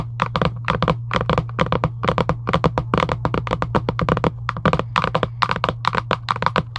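Long nails tap quickly on the lid of a large, flat Giant UNO cardboard game box resting on a table, giving about three dozen short, dry, hollow clicks. A steady low hum runs underneath throughout.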